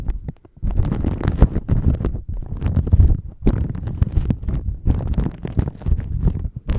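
Fingertips and nails rub and crinkle a thin clear plastic bag wrapped around a microphone. The result is a dense, continuous stream of close crinkling and scratching that comes across mostly as deep, muffled rumbling, with brief quieter pauses near the start and around the middle.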